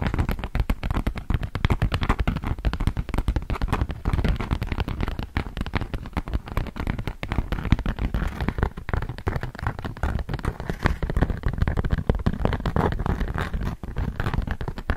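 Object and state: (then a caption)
Beeswax-coated cotton food wrap. A large, thin sheet of beige polka-dot beeswax-coated cotton food wrap is unfolded and held close to a microphone while long nails and fingers handle and crinkle the waxy fabric. A dense, continuous stream of sharp crackles and pops, heavy in the low end, runs for the whole clip with no pauses.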